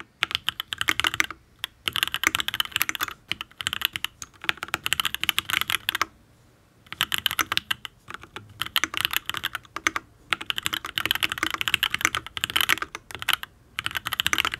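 Fingertips type on a full-size custom Matrix Ablex Penpen mechanical keyboard with an aluminium case, ABS keycaps and Tealios V2 linear switches. Rapid, bright key clacks come in bursts with brief pauses between runs. Each keystroke is short and crisp with almost no low end.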